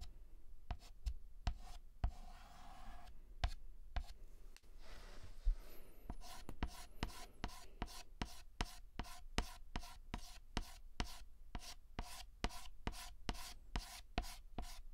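White chalk scratches across a black chalkboard in fast hatching strokes, filling in the letter H. After a few scattered taps and scrapes, a rapid, even run of sharp, dry strokes sets in, each with a bright, raspy edge over a low thud.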